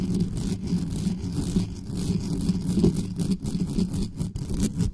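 Long nails scratch fast and aggressively across the grille sides and body of a dark metal USB condenser desktop microphone with no cover. The scratching comes through as a dense, continuous, low rumbling scrape centred around 170 Hz, with almost no bright content and small dips in level as the strokes shift.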